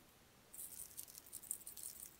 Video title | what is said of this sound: SANDY BEACH SURPRISES Teletubbies Toys Video | when I shake him he's like a salt shaker there's lots of sand still inside